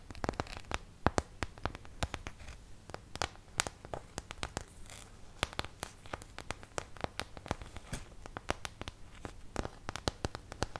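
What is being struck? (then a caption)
Thin plastic paint palette. A white, molded plastic artist's paint palette, thin-walled and hollow-backed with round wells and a thumb hole, empty and about a hand-span in size, is held up close in both hands and tapped and scratched on its surface and rim with fingertips and medium-length nails. Dozens of quick, dry clicks and taps ring out in an irregular stream, each stopping almost instantly, over a soft scratchy rustle and a faint low hum.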